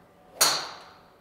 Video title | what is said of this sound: 松山プロを支える”ゴルフの科学”！ 極めればメジャー制覇 スイングロボの凄すぎる正体 | その打球音は少々芯を外れても高い音が響き